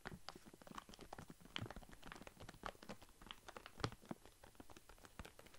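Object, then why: Plastic foil snack bag of walnuts. A full plastic foil snack bag of walnuts is handled and crinkled with fingers close to the mic. The result is a quiet, continuous stream of sharp crackles and crunchy rustles, with bright crinkle edges over a soft low rumble of shifting contents.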